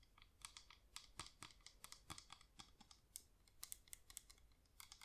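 A yellow wax flameless LED pillar candle is held up with its top rim forward and tapped quickly on the rim and sides with long nails. The result is a rapid, uneven run of crisp, bright clicking taps, each dying away almost instantly, over a quiet, dry background.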